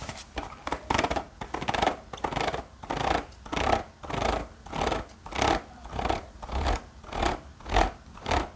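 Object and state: Spiral-bound notepad scratched.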